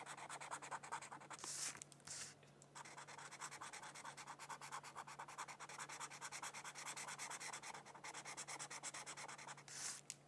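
A felt-tip marker strokes and scratches rapidly back and forth across a thin white paper mandala coloring sheet resting on a book. It makes a steady, bright, papery scratching that stops briefly near the start and again near the end, with occasional louder, higher squeaks.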